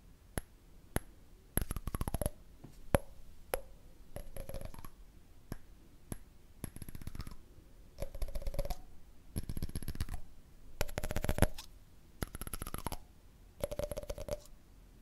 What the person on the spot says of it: ASMR: Cool Tapping Sounds on a Candle Lid